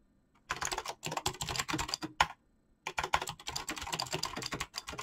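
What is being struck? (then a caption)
Mechanical keyboard with plastic keycaps. Fast fingertip typing on a black mechanical keyboard with clicky switches and PBT plastic keycaps produces dense bursts of sharp, bright clicks. After a quiet start, the typing runs in two flurries separated by a brief pause near the middle, each keystroke short and crisp with almost no ring.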